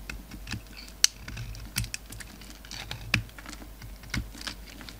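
A utility knife blade scrapes and carves flakes off a solid black bar of soap held in the hand. The result is a quiet run of short, dry, bright clicks and scratchy ticks at an uneven pace, with a few sharper snaps standing out, much like light typing.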